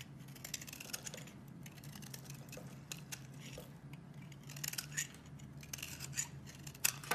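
A metal blade shaves slices off a solid white bar of soap held in the hand, with a green soap bar below that is not being cut. Quiet, bright, crisp scraping and cutting sounds come in rapid short strokes over a steady low hum, growing slightly louder near the end.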